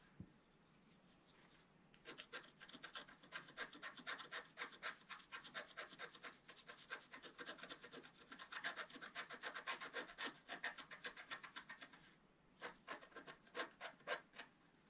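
A thin wooden stylus scratches away the black wax coating of a scratch-art page, black wax over colored paper, near its bottom edge; the page lies flat in a book on a table and is held down by one hand. Quick, dry, bright rasping strokes come in a fast, uneven rhythm for about ten seconds, pause briefly, then return for a few final scrapes.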